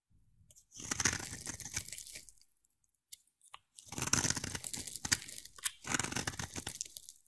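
A utility knife blade carves a hand-sized, solid rectangular black bar of soap with white stripes, shaving off flakes. The result is dry, bright, crunchy scraping in dense bursts with short sharp clicks. A near-silent pause with a few faint ticks splits two longer passages of carving.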